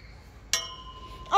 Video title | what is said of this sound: 최지후 생후37개월 귀요미들 하원길 풍선 최재하 생후19개월 | 어, 쇠는 정말 날카로운 소리가 나.